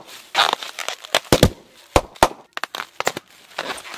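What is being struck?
Plastic air-pillow packing wrap.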